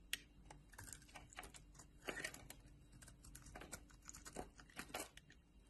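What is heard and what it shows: A solid oval purple bar of soap held in the palm of a hand with long nails is shaved and carved with a metal utility knife blade, and curled soap shavings break off. Quiet, dry, crisp scraping and crackling cuts come in short bursts with bright edges and almost no ring between strokes.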